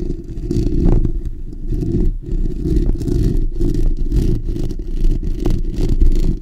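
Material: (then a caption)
Steel mesh. Fingertips and short natural nails of both hands scratch the bare steel wire-mesh grille of a black desktop condenser microphone, a hollow dome. The result is a dense, continuous low scratching rumble that swells and dips throughout, with almost all of its energy in the bass and very little high-end detail.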